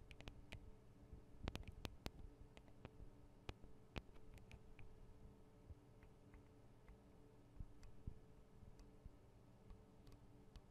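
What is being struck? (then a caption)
Metal microphone capsules of a handheld recorder. Long acrylic nails tap on the small metal microphone capsules of a Tascam DR-40 recorder, producing quiet, sharp, bright clicks scattered over a steady low hum. The taps cluster more densely early on, then thin out as the hands lift slightly at the end.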